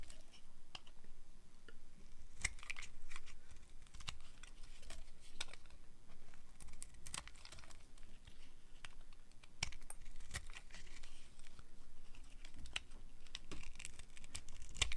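A small yellow-handled knife blade carves and scrapes the surface of a hand-sized, solid bar of dry red soap held in one hand. Crisp shaving and cutting sounds come as a steady run of short, sharp clicks and scrapes, with brighter bursts now and then, over a low, constant rumble.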